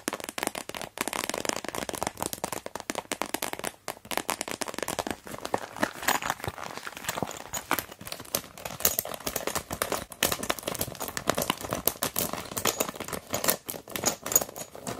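Long nails tap and press a translucent blue plastic pencil case flat, and hands squeeze and fold it. The result is a dense, continuous run of sharp, bright crinkles and crackles with almost no low end. Each snap dies away almost instantly.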